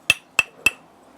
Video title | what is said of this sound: Best Charcoal for BBQ | a bright ringing sound as a sign of a good charcoal